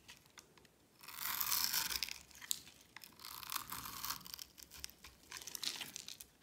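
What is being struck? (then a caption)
Bar of soap. A metal blade scrapes and carves a solid, palm-sized oval bar of dry green soap held in the hand, raising cubes and curls of soap. The dry, crisp scraping and crumbling come in bright, hissy bursts of varying length with quiet gaps between them.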